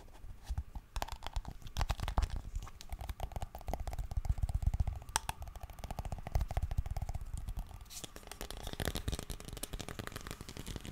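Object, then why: Small plastic cream jar. Fingernails scratch and tap on a small round white plastic Nivea cream jar, making crinkly sounds. Dense, rapid dry clicks and scrapes run throughout with a heavy, muffled low body and little brightness. The texture shifts partway through to sharper, brighter scratching.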